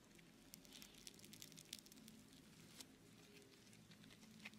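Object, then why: Foam clay with small foam beads. A lump of blue beaded foam clay (Floam) is stretched between the hands, then squeezed into a ball in one hand. It gives off a quiet, steady run of soft crackling and squishy pops, with sharp, bright little clicks scattered throughout over a faint low hum.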